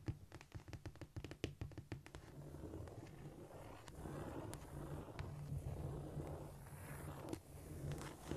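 Long nail tips tap quickly on a flat, solid cork floor in a rapid run of short, dull clicks. They then turn to a steady, low, rustling scrape across the surface, with a few scattered taps near the end.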